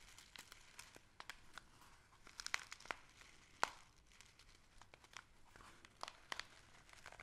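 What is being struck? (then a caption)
Small kraft-paper gift bag. A small, hollow kraft-paper gift bag with string handles and a printed paper label is held in both hands while fingertips and nails scratch and rub along its surface. Dry, bright crinkling and scratching come in irregular, quick bursts over a low, quiet background, with a few sharper crackles standing out.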